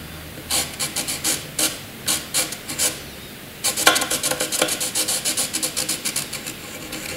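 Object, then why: Graphite pencil on paper sheet. A graphite pencil scratches and rubs long vertical strokes across a sheet of white paper, making a run of short, bright, raspy strokes. After a brief pause, the strokes return faster and denser, continuing as a steady scratching rhythm.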